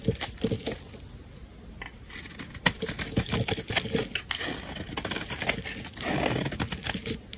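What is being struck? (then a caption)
Bar of soap cut with a metal blade. A metal utility-knife blade shaves and slices thin layers from the end of a solid, rectangular, hand-sized pink bar of soap held in the hand. It makes a steady run of crisp, dry scraping and crackling with sharp little clicks and ticks, growing into a denser, rougher scrape near the end.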